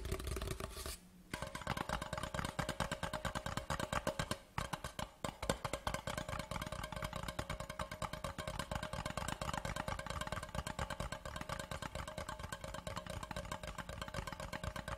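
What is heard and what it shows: Fast tapping with fingertips and short nails along the sides of a large, hollow, white printed cardboard Laphroaig whisky gift tube with green-rimmed ends, lying horizontally on a dark cloth. It makes a dense, rapid stream of short, dry taps with a hollow tone around 540 Hz, with brief pauses near 1 and 4.5 seconds.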